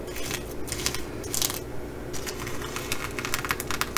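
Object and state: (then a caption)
Reversible sequin fabric bag. A long fingernail on an index finger scratches across a reversible flip-sequin fabric bag, flipping the sequins from blue to bronze. Bright, crisp scratching and rapid clicking rustles come in bursts over a steady low hum.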